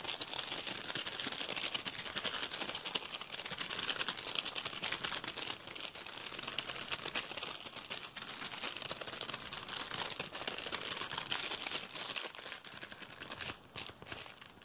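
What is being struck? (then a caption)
Thin plastic film packet. A small blue and clear plastic packet with orange items inside is held in both hands while fingertips squeeze and crinkle the thin plastic film. The crinkling is fast, dense and continuous, made up of rapid bright crackles with almost no low end. It holds a steady level throughout and thins out slightly near the end.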